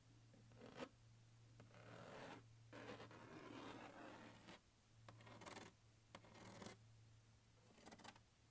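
A palm and fingertips rub and scratch the lid and vent grilles of a large, hollow, closed turquoise hard plastic glockenspiel case. Soft, rasping scratch-and-rub bursts of varying length come and go over a steady low hum, with a few brighter, sharper scrapes standing out. The sound stays quiet and dry throughout.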